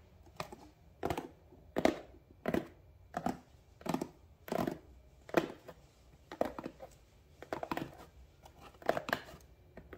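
Fingertips and nails tap and scratch the top surface of a medium cardboard shipping box with labels resting on a counter. Short, dry, papery scraping bursts in the midrange come at an irregular pace, each stopping almost at once with no ring. The sound stays quiet and soft throughout.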